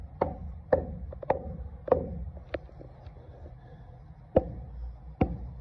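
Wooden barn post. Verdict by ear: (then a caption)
Solid. A hammer taps a rotted wooden barn post again to judge how high the rot goes. Several short, dry, woody knocks sound with little ring, centered around 500 Hz. At this spot the post sounds solid and seems hard.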